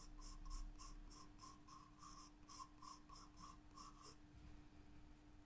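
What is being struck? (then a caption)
Graphite pencil on a paper sketchbook page. A graphite pencil scratches and sketches lines on a white paper page of a spiral-bound sketchbook, making a quick, uneven run of bright, papery strokes for about four seconds before stopping. A steady low hum continues underneath throughout.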